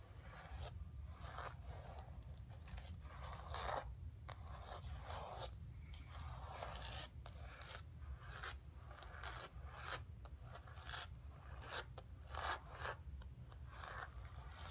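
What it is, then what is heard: Painted canvas panel scratched with nails. Long pink acrylic nails on both hands scratch and rub the painted surface of a flat, thin, solid canvas board about letter size, lying on carpet. The result is a continuous dry, rasping scratch with brief brighter strokes, sitting quietly over a steady low hum.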